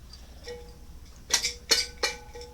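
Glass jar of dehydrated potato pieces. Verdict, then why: Spoiled. A jar of home-dehydrated potatoes, cut and blanched over a year ago, is shaken, giving a few short, bright knocks with a faint lingering ring. The pieces make a dull thud instead of a crisp rattle because they were not processed right and have spoiled, with mold found on one piece.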